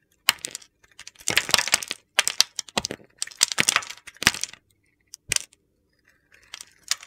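A rectangular white bar of soap with a red glitter coating, held in the hand, is carved with a metal utility knife blade. Crisp, bright crunching and scraping bursts come in clusters with short pauses between them as crunchy flakes break off the solid bar.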